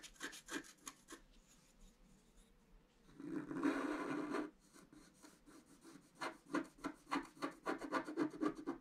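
A wooden stylus scratches flowers and antlers into a flat scratch-art sheet of black coated paper. It opens with quick, dry rasping strokes, then a quiet pause, and then one long, steady scrape. It ends with a run of short, rhythmic scratches that have a papery mid-range rasp and bright edges.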